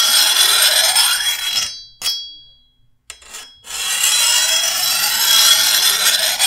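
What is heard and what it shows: A hand-held steel file scrapes along the edge of a long, thin, solid steel machete blade, making a dense, bright rasp. Partway through, the filing stops and two separate strikes make the blade ring with a metallic tone near 3.3 kHz that fades over almost a second. The steady rasping then resumes.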